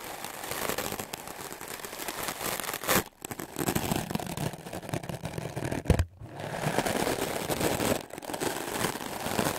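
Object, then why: Melamine foam sponge brushed with a stiff-bristled brush. A solid white melamine foam magic eraser block, held by the fingertips, is brushed aggressively with a wooden clothes brush with stiff dark bristles. The fast strokes make a dense, scratchy, crackling rasp across low to bright tones. Brief pauses fall near 3, 6 and 8 seconds.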